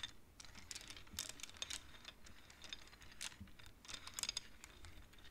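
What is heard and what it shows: Long nails push and tap the wooden beads of a wooden abacus, making quick, quiet, bright clicks in an irregular patter. Each tap is short and dry, dying away almost at once, with a faint low rumble underneath.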